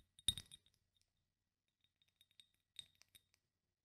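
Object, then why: Small glass bottle with metal cap. A small rectangular Nuxe glass bottle with a metal cap, partly filled with oil, is held in both hands and tapped and gripped with fingertips, one finger wearing a ring. A loud bright clink near the start is followed by quieter, scattered high glassy taps and clicks, ringing around 3.7 kHz and fading almost instantly.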